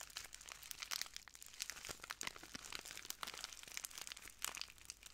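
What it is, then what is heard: Plastic bag of granules being crinkled. A small clear plastic bag full of translucent granules is crinkled and squeezed by the fingertips of both hands. The result is a steady, quiet stream of bright, crisp crackles and crunches that rise and fall in dense, overlapping bursts, with almost no low end.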